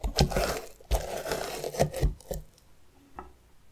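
The tip of a metal spoon scrapes and scratches the outer rind of a medium hollowed orange pumpkin held on its side. Several dry, raspy strokes come in bursts, each with a dull, low body and a short, quick-dying tail. The scraping thins out after about two and a half seconds, leaving one fainter scratch near the end.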